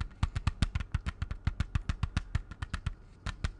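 Fingertips and nails tap the clear front cover of a closed, hollow plastic CD jewel case held upright. About 22 quick, dry taps come in an uneven rhythm, each a dull low knock topped with a bright plastic click that dies away almost at once. The taps pause briefly near the end before a final pair.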